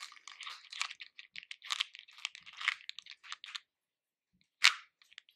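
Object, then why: Hard-shelled candy pieces in a plastic bowl. Fingers and nails rummage through loose hard-shelled candy pieces in a pink plastic bowl, making a steady run of bright, crisp clicks and crunchy rattles. After a short pause near the end, a single louder crunch sounds, followed by a few faint clicks.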